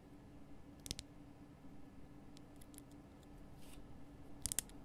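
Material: Rock salt.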